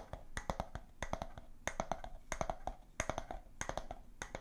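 Long nails tap rapidly on the glass sides and bamboo lid of a clear, empty glass jar, in quick clusters of clicks. The taps are sharp and dry, with a brief mid-pitched ring around 660 Hz that dies away almost at once.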